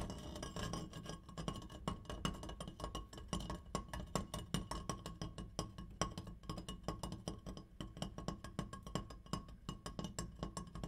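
An opera light is tapped in a quick, uneven stream of light clinks over roughly eleven seconds. The taps are short and dry with almost no ring, over a steady low hum and a faint ringing tone near 1 kHz.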